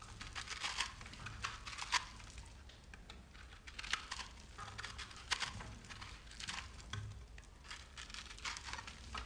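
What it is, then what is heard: Bar of soap being shaved. A large solid bar of soap with green and pink speckles, held by the fingertips, is shaved with a metal knife. Dry, crumbly scratching and crinkling come in repeated bright bursts over a low, steady background hum, each stroke ending abruptly with no ring.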